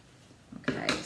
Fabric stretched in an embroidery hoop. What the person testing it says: if you tap it it sounds like the skin of a drum